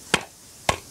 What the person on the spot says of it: इसकी आवाज लकड़ी जैसी है। हाँ, लकड़ी जैसी आवाज आ रही है।